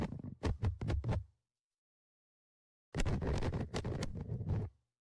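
Dark tweezers scratch and scrape across the metal mesh microphone grille on the plastic body of a Tascam DR-100mkIII recorder, working over the top mic grille and the omni mic area. A first burst of separate rough, deep-toned scrapes is followed by a pause of silence, then a longer, denser run of rumbling scratching.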